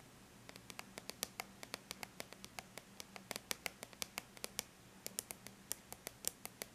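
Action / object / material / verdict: tap / aluminum laptop lid / aluminum / none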